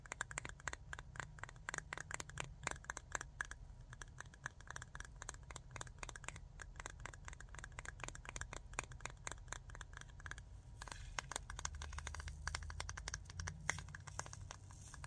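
Long fingernails rapidly tap and scratch the metal lid and sides of a small glass jar full of glitter, producing a dense stream of sharp, bright clicks and scraping ticks. A steady low rumble runs underneath, and a broad hiss grows louder around the eleventh second.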